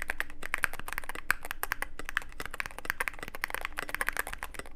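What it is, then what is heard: Mechanical keyboard with plastic keycaps. Fingertips of both hands type continuously on a Cyberboard mechanical keyboard with plastic keycaps and a dark case. The result is a dense, rapid stream of short, sharp clacks with a bright snap around 1.6 kHz, each dying away almost instantly over a faint low hum.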